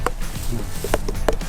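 A watermelon still on the vine is knocked five times during a harvest check to tell ripe from unripe, giving short, hollow thumps around 440 Hz that die away almost instantly. The melon is judged not yet ready for harvest.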